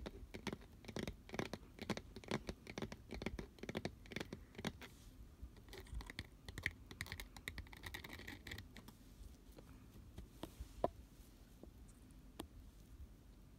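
Fingertips and nails tap and scratch the sides and fabric lid of a hollow, medium pink, glitter-coated cardboard cupcake box. Rapid, dry, clicky taps mix with gritty scratching for most of the clip, then thin out to sparse, isolated taps toward the end.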